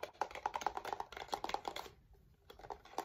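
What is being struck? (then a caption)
Small plastic cube-shaped digital clock. A small, hollow, white plastic cube-shaped digital alarm clock with a screen and a printed design is held in the hands and tapped with fingertips or nails. It produces a fast run of light, dry, clicky taps with a hollow plastic tone around 830 Hz, then a brief pause and a few more taps at the end.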